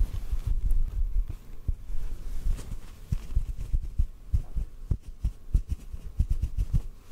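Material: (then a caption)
Cotton. A small white cotton ball held in front of the mic is tapped lightly with the fingertips, producing a series of soft, muffled low thumps over a faint rustling bed. The taps are dull and short, with almost no high end and no ring.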